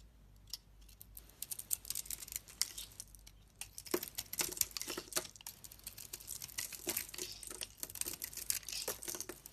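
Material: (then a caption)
Soap. A solid oval bar of soap with a silver and purple coating and a lilac interior is held in the hand and shaved with a utility knife blade. The result is a quiet run of dense, bright scraping and crisp crinkling cuts, with little low end and brief pauses between strokes.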